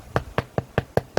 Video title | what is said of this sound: How to make damper | hear that sound? That hollow sound? That's telling you that it's baked.